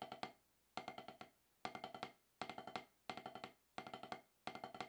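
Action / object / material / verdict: strike / rubber practice pad struck with wooden drumsticks / rubber / none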